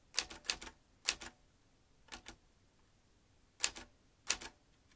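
Fingertips tap the keys of a vintage manual metal typewriter with metal typebars and a ribbon spool. Twelve bright, crisp clacks come in quick pairs and small clusters separated by pauses, each very short with almost no low end. The result is sharp, high typebar strikes.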